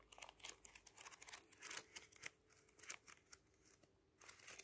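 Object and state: Thick paper booklet.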